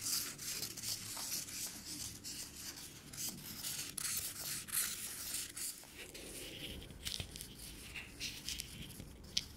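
Long fingernails rub and scratch the shell of a small, hollow peanut held in the fingers. The result is a quiet, bright, dry scratching that runs continuously, mostly in the high frequencies, broken by short ticks and clicks.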